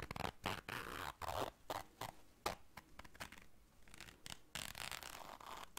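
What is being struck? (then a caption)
Small fabric zipper case. A small round black fabric zipper case is held in the hands while long dark nails zip it and scrape across it. Short rasping zipper runs alternate with scratchy scraping bursts, bright and close, separated by brief pauses with little ring after each stroke.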